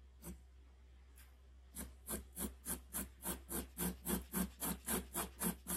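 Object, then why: Graphite pencil on a sheet of drawing paper. A graphite pencil held in the hand makes short, repeated hatching and scratching strokes on the axe-handle area of a large, flat sheet of white drawing paper pinned to a board. After two isolated strokes, a steady run of about fourteen dry, raspy scratches follows at an even pace, each with a bright edge and a low body. A constant low hum sits underneath throughout.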